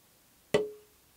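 A single tap on the free wooden back plate of an acoustic guitar, held up while its braces are being shaped, gives a sharp knock followed by a clear tap tone near 420 Hz. The tone rings briefly and fades within about a quarter second.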